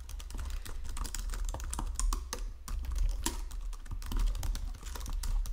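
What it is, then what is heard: Plastic computer keyboard being typed on. Fingertips with painted nails type across the low-profile keys of a full-size white and silver plastic Logitech keyboard resting on a marble desk. Quick, irregular bursts of soft, bright plastic key clicks and taps come with short decays, over a steady low rumble.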